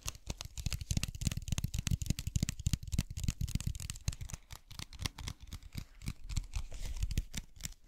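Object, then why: Plastic bottle filled with gel water beads. Fingernails tap and scratch a clear plastic cylindrical bottle with a white cap, full of blue gel water beads, held close to the mic. Rapid, dry tapping and scratching clicks carry deep, boomy low thumps with a bright, crackly edge. Each hit dies out almost instantly.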